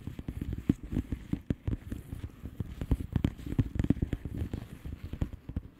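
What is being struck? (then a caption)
Plastic bubble-wrap envelope. Long polished nails tap and scratch across the bubbles of a flat, hollow plastic bubble-wrap mailer lying on a surface. The result is a steady stream of soft, dull, low taps that die away instantly, mixed with light scratchy crackling. A few louder clicks stand out along the way.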